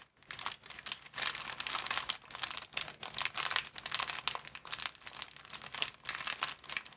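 A thin, clear, medium-sized empty plastic bag is crumpled and crinkled between both hands. The result is about seven seconds of dense, bright crackling that swells and fades in rapid bursts, with almost no low end.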